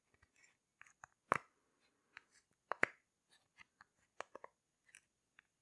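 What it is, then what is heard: Silicone pop-it fidget toy. Fingertips with long nails press and pop the hollow bubbles of a rainbow heart-shaped silicone pop-it fidget toy. The clip is quiet, with short, dry pops and clicks at irregular intervals, two louder, fuller pops standing out near the start and middle. Each sound ends almost instantly, with no ring.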